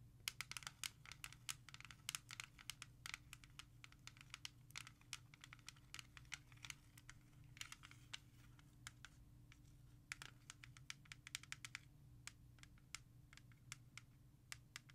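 A Salsa Fever CD in a clear plastic jewel case is held and flipped over while long nails tap and trace across it. The result is a fast, uneven stream of sharp, bright plastic clicks and light scratching over a faint steady low hum.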